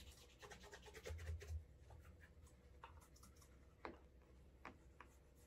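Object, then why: Leather dress shoe. A cotton cloth wrapped on the fingertips rubs wax along the sole edge, heel and toe of a brown leather Alden Straight Tip Blucher cap-toe dress shoe, which has a shoe tree inside and is held in the hand, to build a wax burnish. Soft, dry rubbing and scratching strokes are heard over a low rumble, with busier friction early on and a couple of sharper ticks later in the clip.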